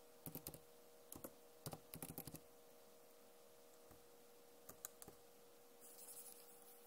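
Long nails and fingertips tap and type on the hollow keys of a backlit plastic laptop keyboard, making short, sharp, bright clicks in quick clusters with pauses between them. A faint steady tone hums underneath, and a soft, bright hiss rises near the end.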